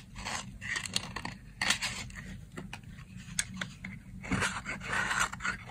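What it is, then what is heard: Dry soap bar being shaved. A solid, dry brown soap bar held in the hand is scraped with a box-cutter blade into fine shavings. Bursts of dry, crisp scraping and crunching come in uneven strokes with a bright, hissy edge over a faint low background hum.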